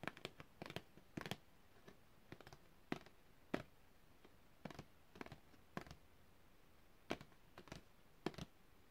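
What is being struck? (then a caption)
Printed cardboard packaging card. A long, thin printed cardboard packaging card with a hang hole is held upright and tapped with long red-painted fingernails on fingers wearing rings. The result is a quiet run of short, dry, broadband clicks and taps in small clusters with brief gaps of near silence between them.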